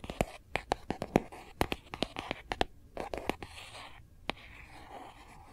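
Long glossy nails tap and scratch the back of a phone held upright in a hard plastic Kate Spade case. A quick run of sharp, dry clicks with bright ticking edges gives way to softer scraping, broken by one last crisp tap near the end.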